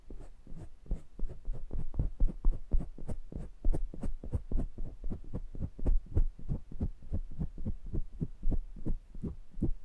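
Fingertips tap and rub the round metal wire-mesh grilles of two identical small pencil condenser microphones with metal bodies and hollow capsule heads, touching both mics at the same time. About forty quick, muffled thumps come in a steady, heartbeat-like rhythm, deep and boomy with almost no ring and a faint bright tick on top of each hit.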